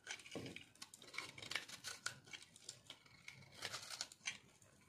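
A solid chunk of dry pink and green bar soap, held in the hand, is cut and scraped with a metal blade. The result is a quick run of crisp, bright, crunchy scrapes and short clicks that die away almost instantly, with little low end.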